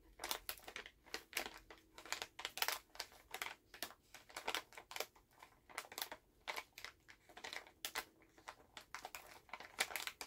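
A full Halls plastic cough drop pouch is held in both hands while fingertips crinkle and tap the bag. Quick, bright crackles and light taps come in a steady, irregular stream with almost no low end, at a soft level throughout.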